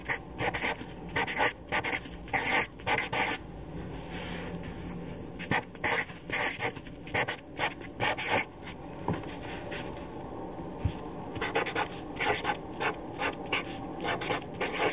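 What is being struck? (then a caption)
Felt-tip marker on a paper sheet. A black felt-tip permanent marker, held by a hand with long dark nails, writes names on a thin white paper sheet lying flat on a dark table. Its tip rubs and scratches across the paper in quick bright strokes. The strokes come in rapid bursts, separated by quieter stretches of softer, steady rubbing.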